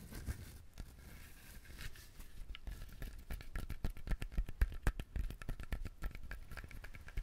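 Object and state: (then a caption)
Whole coconut shell. Fingernails scratch and tap the hard, fibrous shell of a whole coconut, its three eyes visible, held close to the mic. Soft dry scratching gives way to a quick, uneven run of short, dull taps that peak in the middle and have almost no ring, with a crinkly, bright edge over a low thump.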